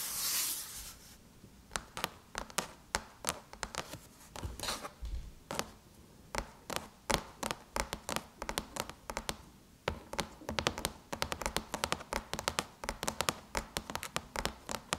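Long chrome-painted nails tap on the lid of a closed silver aluminum MacBook, producing a quick, irregular run of sharp, bright clicks with very little ring. The clip opens with a brief bright rustle, then the taps come in clusters that grow denser toward the end.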